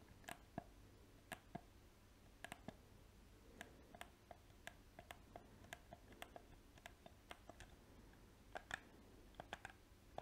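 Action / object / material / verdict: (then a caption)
tap / plastic game controller / plastic / none. A small, hollow black PS4 plastic controller has its buttons clicked and its shell tapped with painted fingernails. Dozens of quick, dry clicks and taps come at an uneven pace over a quiet background. Each one is sharp with a bright edge and a hollow plastic tone around 690 Hz, and it stops almost instantly.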